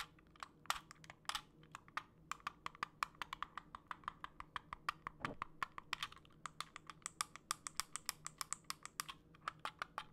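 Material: Plastic.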